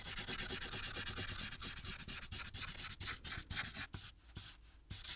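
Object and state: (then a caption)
Marker coloring on a paper sheet. A marker tip is rubbed in short back-and-forth strokes on a thin paper coloring sheet resting on a clipboard while coloring the sky. The clip is a quick, steady run of bright, dry scratching strokes, mostly high hiss with little low end. The strokes grow sparser and quieter with short pauses near the end.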